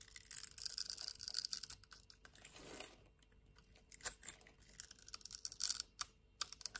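A solid cream-white bar of soap held in the palm is scored in a grid pattern and scraped with a metal knife, shaving off small flakes. The sound is quiet, bright, dry scratching and crackling in dense bursts, with a softer, fuller swish partway through and a few sharp, crisp clicks toward the end.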